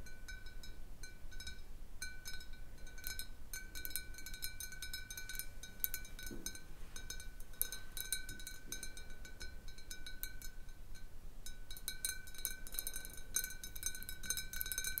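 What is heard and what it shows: Long nails tap the sides and base of a large, hollow, clear glass bottle holding a little water. The result is a quiet, uneven stream of light, bright clinks with short ringing tones over a low background rumble.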